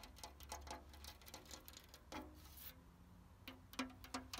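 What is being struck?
Painted cast-iron garden chair.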